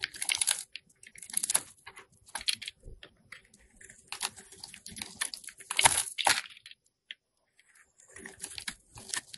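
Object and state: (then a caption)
Soap bar being shaved. A solid oval white soap bar with a printed label, held in hand, is shaved into curls with a metal box cutter blade. Bright, crisp scraping and crunching strokes come in quiet bursts separated by short pauses.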